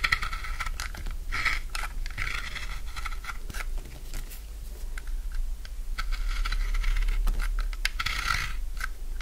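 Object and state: Dry soap bar, crunchy when cut.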